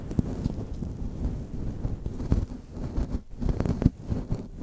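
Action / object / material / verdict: scrape / faux fur microphone windscreen / faux fur / none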